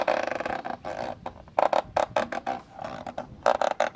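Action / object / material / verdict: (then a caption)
scrape / plastic camcorder lens hood / plastic / none. Fingers rub and scratch inside the black plastic hollow lens hood of a camcorder, making rasping scratches. A fast fluttering rasp at the start gives way to short, uneven scratching bursts with a hollow, mid-pitched resonance around 750 Hz and almost no ring after each stroke.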